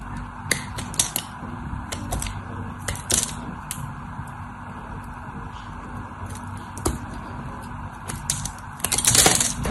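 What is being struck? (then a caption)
Solid soap bar cut with a knife tip. A cream-colored solid soap bar held in both hands is scored with the tip of a craft knife blade in repeated short cutting strokes. Each stroke gives a crisp, bright scratch or click over a steady low hum, with a louder cluster of scraping near the end.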